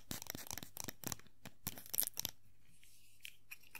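A small hollow vinyl Funko Pop figure of Tuxedo Mask is held and turned in the hand while long nails scratch its hat and body. Quick, bright, crackly scratches come in dense bursts for about two seconds. They then thin out to a few faint scrapes over a low, quiet background.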